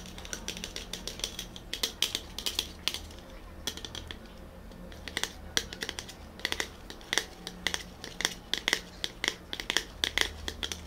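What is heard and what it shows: Short fingernails and fingertips tap quickly on the printed body of a small cylindrical BOSS coffee drink can made of aluminium or steel, held in both hands and apparently sealed with unknown fill. The taps come as rapid bright, tinny clicks in uneven bursts, with a thin metallic ring near 2 kHz that dies away almost at once over a quiet low hum.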